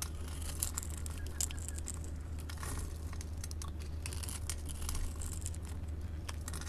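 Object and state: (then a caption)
Bar soap being carved. A metal blade scores and scrapes small cubes off a solid orange-yellow bar of soap held in the hand. Dense, crisp scratching and crumbly clicks with bright edges run continuously over a steady low hum, with no long ring after each scrape.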